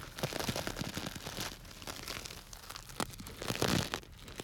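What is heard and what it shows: A small clear plastic bag tied with string and full of small orange-yellow dry grains is crinkled and squeezed with fingers close to the microphone. It makes dense, bright crinkling and crunchy rustling with the grains shifting inside, building to a louder burst of crackle near the end before settling into quieter rustles.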